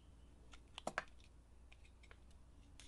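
A steel utility knife blade shaves and carves curls off a solid bar of blue and pink glitter soap held in the hand. Quiet scraping and cutting strokes are heard, with two sharper, louder cuts near the start and soft scratches over a low, steady hum.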